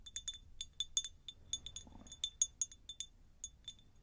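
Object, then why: Cut-glass jar. Long nails tap a medium, hollow, empty cut-crystal glass jar in an irregular series of about seventeen light taps. Each tap gives a bright, high glassy clink that dies away almost instantly, over a faint low background murmur.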